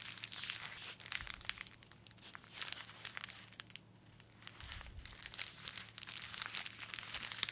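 Gloved fingertips squeeze, rub and bend a small, sealed grey polythene postal mailer with a paper address label, holding a boxed phone case. The bag gives a dense, bright crinkling rustle in bursts, with a brief quieter lull near the middle before the crinkling picks up again.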